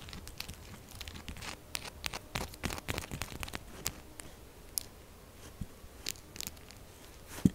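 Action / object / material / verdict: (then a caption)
scrape / textured bar of soap / soap / none. Long nails quickly and aggressively tap and scratch the top of a pink textured solid soap bar lying flat. The result is a rapid series of short, dry, crunchy scrapes and ticks with bright edges, busier in the first half and sparser later, ending on one sharper click.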